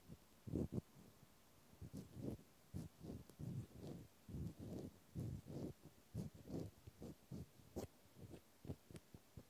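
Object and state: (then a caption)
Small metal nut. A small solid metal hex nut held between fingertips is scratched with a cotton swab. Soft, muffled scratching strokes repeat in quick bursts, mostly low and dull with very little high-frequency sound and brief decay.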